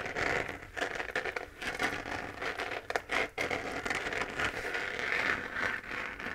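Long fingernails scratch the textured surface of a hollow, lit, 3D-printed plastic moon lamp sphere. The result is a continuous, dry, crackling scrape with brief pauses, its energy centered in the upper mids around 1–2 kHz, with little low end and a quick, dry decay.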